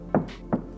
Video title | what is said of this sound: Lexus LX600 + (NEW) LX700 Full Review! Interior, Exterior and More | even when I tap you barely hear that Hollow sound it feels like a reinforced steel instead of a tin can